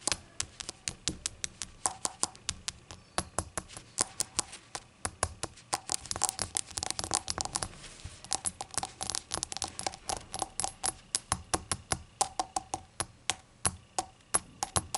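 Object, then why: Small glazed ceramic shot glass. A small, hollow ceramic shot glass with a glossy glaze and an unglazed base rests on a towel and is tapped with long acrylic nails. Quick, sharp, bright clicks come in a steady, uneven rhythm, each dying out almost at once with a faint hollow ring. Around the middle, the taps crowd together into a denser, scratchy stretch.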